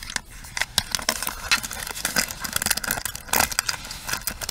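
Long nails scratch the bristle pins and tap the frame of a pink plastic paddle hairbrush held upright. The result is a dense, bright, crackling scratch broken by many short, sharp taps with almost no ring and very little low end.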